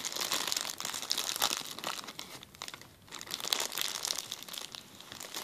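A clear plastic zip-lock bag resting on a table is crinkled and then pressed flat by fingertips. Dense, bright crackling and rustling fills the clip, with almost no low end, easing briefly around the three-second mark before the crinkling picks up again.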